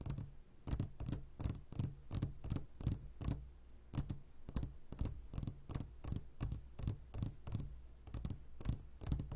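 Fingertips and short nails of both hands tap the sides of a clear glass jar full of gummy candies. Around thirty quick taps follow in a steady, irregular rhythm, each a soft low thud with a bright clicky edge that dies away almost instantly.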